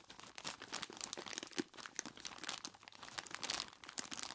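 A large clear plastic bag full of ice cubes is squeezed and rubbed with the fingertips of both hands. The plastic crinkles and the ice crunches in a continuous run of dense, bright, crackly bursts with almost no low end.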